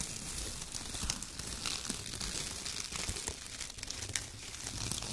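Fingertips of both hands grab and crumple handfuls from a light, loose pile of thin torn brown kraft paper strips on a white table. A steady, bright crinkling and rustling with occasional tearing and sharp crackles runs throughout, with no pauses.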